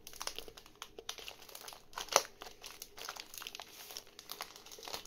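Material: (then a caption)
Plastic. Fingertips scratch and crinkle a medium rectangular parcel wrapped in dark plastic and brown packing tape, resting on a wooden table. The result is a dense run of bright, dry crinkling and scratching with one sharper, louder crackle about two seconds in.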